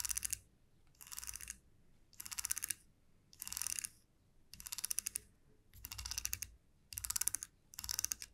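A fingernail strums and flicks the teeth of a small solid wooden comb resting on a felt mat. Eight separate bursts of rapid, dry, bright ticks are heard, each lasting about half a second with short quiet gaps between them.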